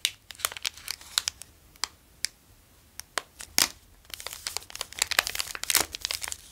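A full Delicato Punschrulle pastry in a green plastic wrapper is held in both hands and crinkled and squeezed with the fingers. Sharp, bright crinkles and crackles come in scattered bursts at first, then grow into a denser, continuous crinkling in the second half.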